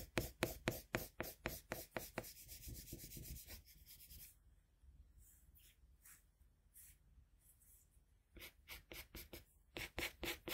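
A red colored pencil, its tip held in a metal extender, makes short rubbing strokes on flat white drawing paper near the mouth of the drawing. Quick, bright scratchy strokes come in a fast rhythm, soften into a quieter, steadier scraping in the middle, then return as crisp strokes, about 17 in all.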